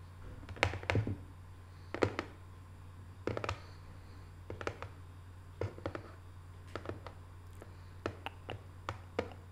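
Long nails tap quickly on the lid of a small, closed, hollow rectangular decorative cardboard box covered in Paris photo prints. The taps come in short bursts of soft, dry clicks that die away almost at once, over a steady low hum.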